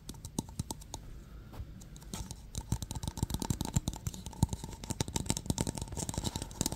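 A Barbasol aluminum aerosol shaving cream can with a purple plastic cap is held in the hands and tapped with the fingertips. It makes a rapid run of soft, dull taps with short, low thuds and occasional brighter clicks. The tapping grows busier and louder toward the end.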